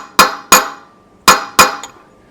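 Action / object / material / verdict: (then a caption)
strike / steel wheel bearing cup in a hub / steel / seated. A new steel wheel bearing cup (race) is tapped into a caravan hub with a hammer, using an old bearing cup as a drift. Five sharp metallic blows are heard, the last one lighter, each with a bright ringing note around 1 kHz. The ringing tone shows the cup has bottomed out against the hub shoulder and is fully seated.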